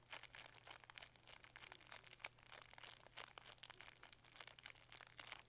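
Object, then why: Thin plastic wrapper on a lollipop. Fingertips crinkle and rub the thin plastic wrapper on a small green lollipop with a white stick, held close to the microphone. Quiet, bright, high crackles and rustles come in dense, short bursts throughout, over a faint steady low hum.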